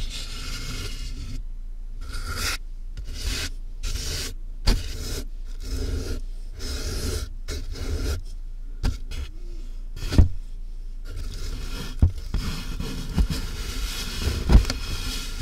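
Fingertips and nails rub and scratch across the taped top and sides of a large, hollow cardboard box. Bursts of dry, rasping scratches alternate with short quiet gaps, carrying a deep, boomy low resonance from the hollow box. A few sharper knocks stand out above the steady scraping.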